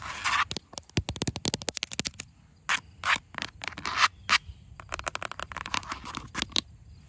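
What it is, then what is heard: Plastic planter pot tapped and scratched with nails. Long acrylic nails tap and scratch the curved outer wall of a large grey plastic planter pot, which is hollow, filled with soil and standing on grass. Bursts of quick, bright clicks alternate with short scratchy swipes. Each sound is crisp and high-pitched and dies away almost at once, with little low-end body.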